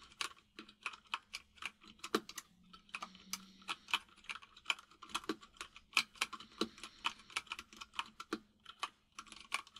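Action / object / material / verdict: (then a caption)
tap / plastic mechanical keyboard / plastic / none. Fingertips of both hands type on a full-size mechanical keyboard with white and grey plastic keycaps and a hollow case. About forty quick, crisp key taps come in an uneven rhythm, each a bright clack that dies away almost instantly, over a faint steady low hum.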